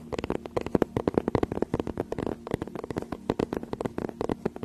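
Long nails scratch and tap rapidly on the cover of a teal faux-leather tablet case held close behind the microphone. The result is a dense run of short, dry, crackly clicks and scrapes over a faint steady low hum.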